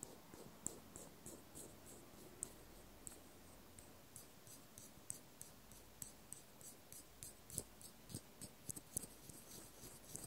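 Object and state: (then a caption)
Metal washer scratched. A small, flat, silver metal washer with a solid ring is held in the fingers and scratched with a cotton swab. Quiet, dry scratching carries a low rumble underneath and is dotted with short, bright clicks that stop at once with no ring.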